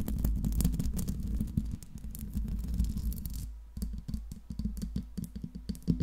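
Long pink nails scratch the metal mesh grille of a silver Blue Yeti microphone with a metal body, making a dense, rapid, low, rumbling scrape. After a brief pause, the nails tap the upper body in quick, irregular, dull knocks with a few brighter clicks on top.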